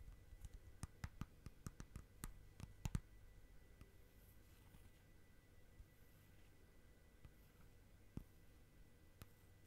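Long nails tap on the lid of a small, round, clear plastic tub with a lid, full of slime. A quick run of sharp, dry clicks fills the first three seconds over a faint low hum. Then comes a quiet stretch broken by a few isolated taps.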